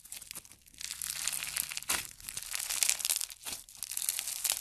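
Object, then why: Floam slime with foam beads. White and pink floam slime, a soft mass dense with small foam beads, is squeezed, folded and rubbed between the fingertips. It gives a continuous bright, crunchy crackling with a steady stream of tiny pops and almost no low end.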